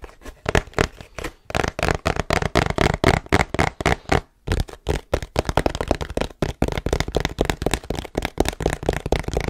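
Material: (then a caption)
Cardboard. Fingertips and nails tap and scratch the printed face of a long, hollow cardboard tripod box held horizontally close to the mic. The result is a rapid, uneven stream of dull, hollow taps, about four per second, with dry, crackly scratching between them and brief pauses along the way.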